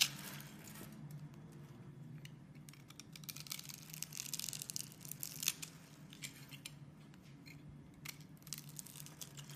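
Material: Soap.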